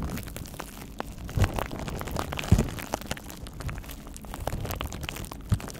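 A clear plastic bubble wrap pouch is held close in front of the microphone and scratched and squeezed with the fingertips. It gives a steady stream of dense, crackly crinkling with quick ticks. A few heavier, low, muffled thumps stand out near 1.4, 2.5 and 5.5 seconds.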